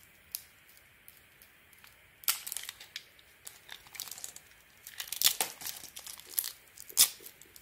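A solid bar of soap with a gold glitter coating and a cream interior is held in the hand and shaved with a metal utility-knife blade. Dry, bright scraping and crisp crackling cuts come in irregular bursts, quiet at first and then louder, with the sharpest strokes near the middle and end. The sound is almost entirely high-pitched, with no low body.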